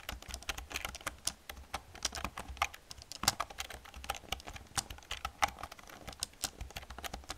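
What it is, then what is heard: Plastic computer keyboard. Fast typing with long painted nails and fingertips on a black plastic computer keyboard with hollow plastic keys. A rapid, uneven stream of short, bright clacks and taps with almost no ring, a few strokes landing sharper and louder than the rest.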